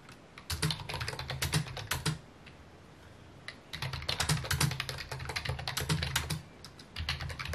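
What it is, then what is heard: Plastic computer keyboard being typed on. Fingertips type on a full-size white and mint plastic computer keyboard with a hollow housing, resting on a wooden desk. Quick bursts of key taps carry a hollow low thump under bright clicks, with a quiet pause around the middle and another near the end. The typing then resumes.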